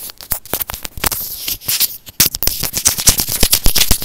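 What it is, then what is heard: Plastic earphone microphone tapped and scratched. A small white plastic earphone inline microphone housing, held in the fingers, is tapped and scratched with short nails. Close, crisp clicks and dry scratching rustles come in a fast, irregular stream, with a brief quieter pause before the tapping picks up again.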